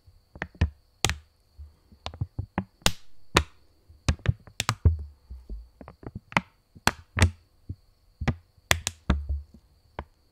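A purple £20 polymer banknote, a thin plastic film, is held taut between both hands close to the mic while fingers flick, tap and tension it. About eighteen sharp, dry snaps and taps come in an irregular rhythm, each with a bright crack over a low, soft thump that dies away almost instantly.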